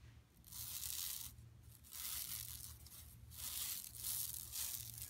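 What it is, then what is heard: Woven plastic mesh bag being scratched. Long nails and fingertips of both hands scratch and rub across a large, flat, empty yellow woven plastic mesh tote lying on carpet. The result is bright, dry, raspy scratching that swells in repeated sustained strokes over a faint steady low hum.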